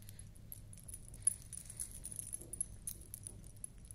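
A beaded collar necklace, a large flat ring of blue, red and white glass beads on a stiff wire frame with small metal discs hanging along it, is held up in one hand while long nails brush and flick the dangling discs. Soft, bright metallic jingles and quick ticks patter quietly over a steady low hum, with one sharper clink standing out near the middle.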